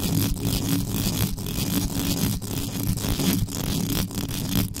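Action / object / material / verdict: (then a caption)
scrape / metal microphone mesh grille / metal mesh / none. Extra-long yellow acrylic nails scratch fast with both hands across the mesh grille of an uncovered, standing black metal USB condenser microphone with a hollow body. The result is a continuous, intense scratching with a heavy low rumble and a harsh, bright hiss, broken by brief dips as the strokes change.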